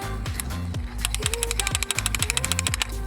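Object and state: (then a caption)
Idle control valve freed up and rattling. A metal idle control valve, removed from a BMW M54 engine and cleaned with mass airflow sensor cleaner after sticking open, is shaken by hand. It gives a rapid ratcheting, clicking rattle over a low hum, showing the valve is freed up and working normally.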